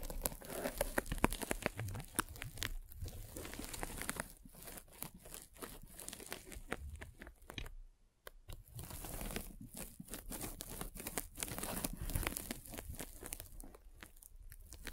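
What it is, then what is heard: Foam net sleeve scraped by a spiked roller. A metal-spiked derma roller is rolled across the side of a white polyethylene foam mesh sleeve fitted over a microphone. It makes dense, crunchy, crackling scratches with fast irregular clicks, and there is a brief quiet gap at about 8 seconds before the rolling resumes.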